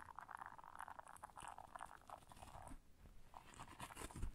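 Long nails scratch the bristles of a flat, solid blue silicone bristle scrubber pad while hands bend it. The result is a quiet, continuous, dense crackling and scratching texture of many small rapid ticks, with brief bright rasps and a few soft low bumps toward the end.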